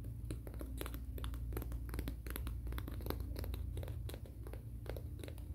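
A fingernail is drawn along the gritty abrasive surface of a long, flat black-and-grey emery board nail file with a thin core, held in the hands. The filing and scratching motion makes a rapid, uneven series of short, dry, bright rasping strokes over a steady low hum.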